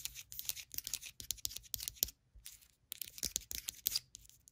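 Long acrylic nails rapidly tap the ribbed side of a small, wax-filled white ribbed ceramic candle jar, then tap and scratch its flat bottom, which has a paper warning label. The quick, crisp clicks are bright and dry with no ring, separated by a brief pause. Softer scratchy rustling is mixed in with the taps.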